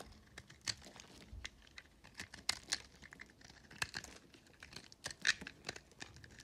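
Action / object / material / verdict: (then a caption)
scrape / hard soap bar scraped with a metal blade / soap / none. A metal box-cutter blade scrapes and shaves chunks and flakes off a hand-held solid white, blue and green recycled soap bar. The result is a quiet string of short, dry, bright crackling and tearing scrapes with irregular spacing. Each scrape dies away almost instantly.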